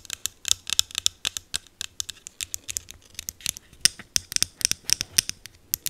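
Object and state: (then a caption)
Plastic spray bottle. Long green acrylic nails tap and scratch a small green plastic e.l.f. setting mist bottle held close to the mic. About thirty quick, dry clicks and scrapes come in an uneven rapid stream, each very short and bright with almost no low end.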